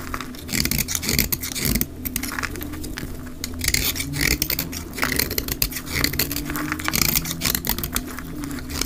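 A solid olive-green dry soap bar is shaved along its edge with a utility knife blade, sped up to double speed. Dense, crisp scraping rasps and fine crackles rise and fall in quick bursts over a steady low hum. Fine shavings and flakes come off the bar.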